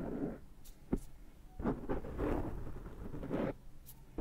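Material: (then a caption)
Foam. Fingertips and short nails scratch and pinch at the surface of a large, rounded, dark foam microphone windscreen. The result is soft, low, muffled rustling in uneven bursts, with a few brief sharp ticks and faint high hiss between them.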